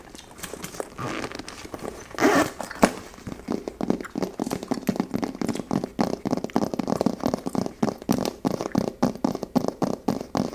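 A small, hollow, coral-pink embossed faux leather purse held in the hand is tapped and scratched with long blue acrylic nails on its textured quilted surface. Dragging the nails over the embossing makes zipper-like scratching sounds, followed by a steady run of quick, dry, crackly taps with very little ring.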